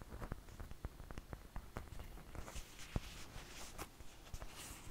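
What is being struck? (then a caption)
Flour tortilla. Long fingernails tap and scratch the surface of a large, thin flour tortilla held close to the mic. Soft, dull taps and sharp little clicks mix with papery scratching and a bright, crinkly rustle, all at a low, quiet level.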